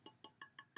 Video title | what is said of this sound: Figurine Fest! August Thrift Haul | you can hear it's it's hollow and it's breakable